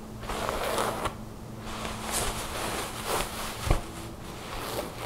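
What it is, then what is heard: Thin fabric garment being scratched and rubbed. Long blue nails scratch a thin, soft tan fabric garment bunched on a wooden table, while hands rub and stretch the cloth. Soft, bright rustling and scratchy swishes rise and fall in short bursts over a faint, steady low hum.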